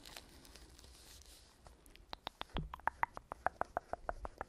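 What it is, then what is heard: Hard-shell zippered case. Long pink nails scratch softly along the shell and edges of a small black hollow zippered hard-shell case (EVA/fabric-covered) held upright near the microphone. About halfway through, the scratching gives way to a quick, uneven series of dry, hollow taps with a mid-pitched knock and no ring.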